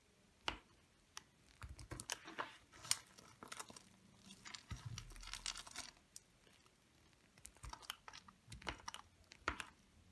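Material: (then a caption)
Soap. A small metal blade scrapes and carves thin flakes off a small, hard, dry bar of pale lavender olive-oil soap held in one hand, with the shavings piling up below. The sound is a run of quiet, dry, bright scrapes and crisp crunchy cuts, with short sharp clicks between slower grinding strokes.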